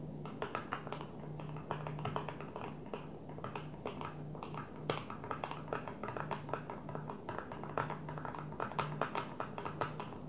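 Long nails tap rapidly and repeatedly on a flat blue plastic container lid lying on a table, thin and hollow underneath, with an empty container sitting untouched nearby. The taps are short, hollow clicks with brief bright edges, heard over a steady low hum.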